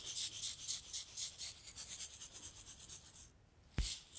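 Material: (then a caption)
Glass, sand. A tall clear glass bottle with a cork stopper, partly filled with pink sand or salt, is held in one hand and tilted and shaken so the grains slide while long nails rub the glass. A bright, pulsing hiss and rasp of sliding grains and scratching fills the first three seconds, then drops to near silence before a sharp, low thump near the end.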